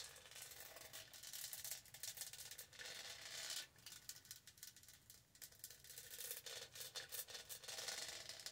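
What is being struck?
Studded plastic tumbler.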